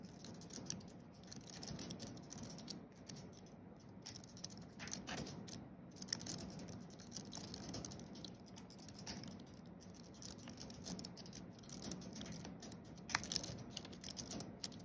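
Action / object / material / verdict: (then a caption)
tap / thin aluminium-based keyboard with plastic keys / plastic / none. Fingertips of both hands tap quickly across a thin wireless computer keyboard with a flat aluminium base and white plastic keys, typing. Soft, rapid, bright clicks patter along continuously at a low level, each tap dying away almost at once over a faint low rumble.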